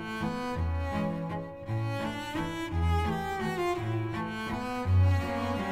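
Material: Nothing is struck.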